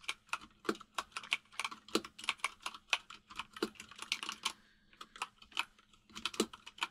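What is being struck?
Mechanical keyboard with plastic keycaps.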